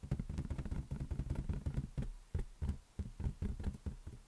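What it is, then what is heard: Inflated rubber balloon. A large inflated green latex balloon, hollow and held on a palm, is tapped rapidly with the fingers of the other hand. The result is a quick run of soft, deep, thumping knocks that die away almost instantly, with little brightness. Around nineteen taps come in uneven bursts.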